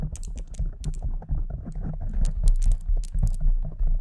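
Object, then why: Foam microphone windscreen. Long decorated acrylic nails scratch and tap with both hands on a soft, porous, fist-sized pink foam windscreen fitted over a silver condenser microphone. The result is a dense, continuous stream of muffled scratching and tapping with a heavy low rumble, broken by quick bright crackles.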